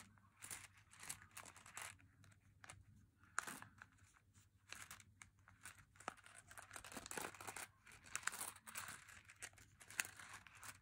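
A full plastic M&M's candy pouch held in one hand is crinkled and rubbed by fingers. Quiet bursts of bright, crackly rustling come and go throughout, over a faint steady low hum.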